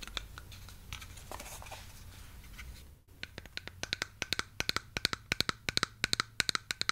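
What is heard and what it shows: A large, hollow, purple plastic Mega Bloks-style toy building block is held in the hands while long yellow-painted nails scratch and tap its studs and sides. The first three seconds are soft, continuous scratching. After a brief pause come sharp, bright clicking taps that grow louder and denser toward the end.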